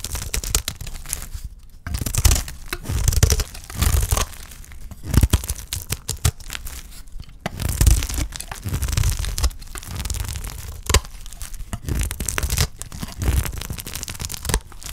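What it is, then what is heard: Dry soap bar being cut. A utility knife blade cuts and scrapes along the surface of a solid, dry green olive soap bar held in the hand. Dense bursts of crisp, crumbly scraping and tearing crackle repeat throughout, with dull low thuds under bright, gritty flakes.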